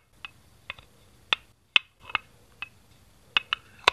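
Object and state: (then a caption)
Plastic Duplo brick. Fingertips tilt, tap and set down a single small, hollow green plastic Duplo brick next to the baseplate. Nine sharp, bright clicks ring out with no lingering ring, separated by quiet gaps.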